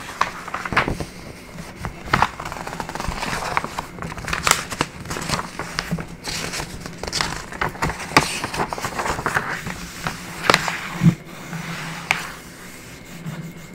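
Fingers and nails rub and scratch across the pages of an open printed paper booklet resting on a wooden table, then flip the pages. Dry crinkling and scratching textures are punctuated by many short, sharp rustles and crackles, over a faint steady low hum.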